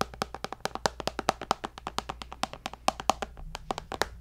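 A tablet with a glass screen, held beside the microphone, is tapped with fingertips and nails in a quick, uneven run of 34 short, dry clicks. Each tap is sharp and bright, with a faint glassy tone and almost no ring. A steady low hum sits underneath throughout.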